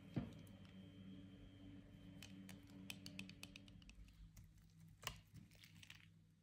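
A utility-knife blade cuts and scrapes pieces off a solid, dry, soft white bar of soap that is partly carved and held in the hand. A sharp snap opens the clip, followed by quiet, crumbly scraping with scattered crisp clicks over a steady low hum. One brighter click stands out near the five-second mark before the sound fades.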